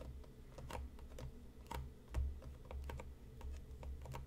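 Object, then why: Printed cardboard tea box. Fingertips and nails tap the front and top of a hollow printed cardboard tea box resting on a cutting mat, giving a quick run of light, dry clicks with a brief bright edge. A steady low hum sits underneath, possibly faint background music.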